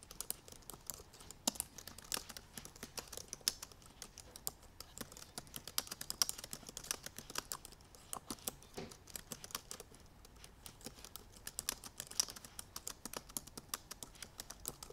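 Fingertips with painted nails on both hands type quickly on the black plastic keys of a silver aluminum MacBook Pro laptop keyboard. A steady stream of light, bright, sharp key clicks with almost no ring continues throughout, with occasional louder taps standing out.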